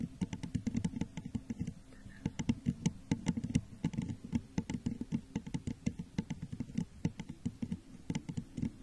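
Long nails on both hands tap and scratch the sides of a clear, crackle-textured glass jar that sits hollow and empty, upside down over a microphone. A steady stream of quick, dry clicks and scratchy patter rides on a hollow, low resonance that dies away almost instantly after each tap, with faint bright ticks on top.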